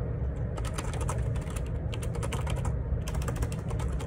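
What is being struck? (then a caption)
Plastic keyboard with plastic keycaps. Fingertips type in rapid repeated key presses on a black plastic Perixx Periboard 612 wireless Bluetooth ergonomic split keyboard, with a hollow housing and plastic keycaps, resting on a desk. The keys give short, bright clicks and clacks that die away quickly over a steady low hum.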